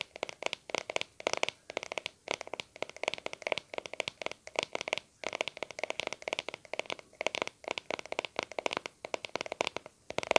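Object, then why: Plastic cream tub lid. Fingertips and nails scratch and tap the lid of a small round white plastic aloe vera cream tub with a blue label, held in both hands. Rapid bursts of dry, clicky taps and scratchy strokes come in quick clusters separated by brief pauses. The sound is bright with no low end and dies instantly.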